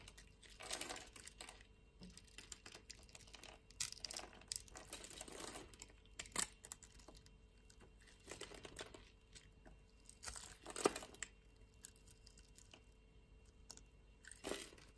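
A small, solid lilac rectangular soap bar, held in the hand, is scored in a grid and scraped into cubes with a metal utility-knife blade. Soft, crisp scraping and crunching come in short, bright bursts with brief clicks and crumbly crackles between them. The sound stays quiet and dry, with no ring after each cut.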